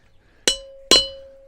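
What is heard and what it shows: Two sharp hammer blows on a rod drive a frozen steel bearing race into a trailer wheel hub, each giving a bright, high metallic ting with a lingering ringing tone. The solid ting shows the race is fully seated in the hub.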